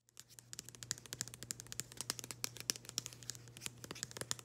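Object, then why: Thin printed cardboard package. Long green acrylic nails scratch and tap a small, thin, flat printed cardboard nail-product package with a floral pattern held in the hands. The result is a quiet, dense stream of quick, crisp, bright clicks and scratchy rustles over a steady low hum.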